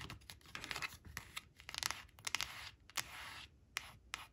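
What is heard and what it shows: Long blue-painted nails trace and scratch over a small, flat, glossy cardstock flash card printed with an orange crayon picture, lying on a woven fabric placemat. The quiet, bright, dry scratching comes in short strokes broken by sharp little ticks where the nails catch and lift off the card.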